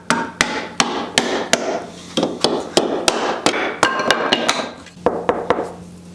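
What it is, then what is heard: Epoxy-cast burl wood, solidly bonded. A hammer taps 17 times on Makamong burl wood pieces cast in epoxy after two weeks of curing, checking whether they are fully glued down. Each tap is a sharp, dry knock with almost no ring. The pieces are found to be solid as a rock.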